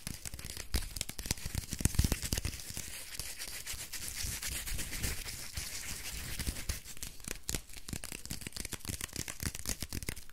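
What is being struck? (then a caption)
Soap bar in a paper wrapper. Fingertips and nails scratch and squeeze the printed paper wrapper of a small, solid soap bar held close up. It makes a dense, continuous run of quick crinkly scratches with bright, hissy paper texture over soft low thumps from the squeezing.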